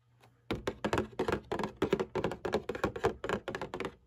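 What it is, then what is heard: Cardboard tissue box. Long painted nails tap and scratch the bottom panel of a printed cardboard Kleenex tissue box lying on its side, hollow and partly filled with tissues. A quick, uneven run of dull, hollow thunks follows, each dying away almost at once, with a mid-pitched body around 390 Hz and a faint scratchy edge between strikes.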